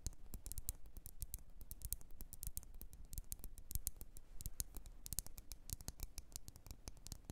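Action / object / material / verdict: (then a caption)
tap / glass jar filled with candle wax / glass / none. Long red nails tap rapidly on the sides of a lit red glass candle jar with printed text, filled with wax. The steady stream of short, dry clicks has bright ticking edges and a soft low body, with no ring after each tap. The tapping is quiet and continuous, with irregular spacing throughout.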